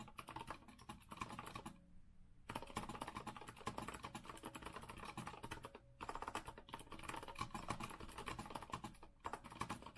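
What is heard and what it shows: A compact retro Azio mechanical keyboard with a rose-gold metal frame and round plastic keycaps, resting on a wooden desk, is typed on quickly with the fingertips of both hands. Dense, continuous clicky keystrokes with a bright clatter fill the clip, broken by brief pauses around two, six and nine seconds.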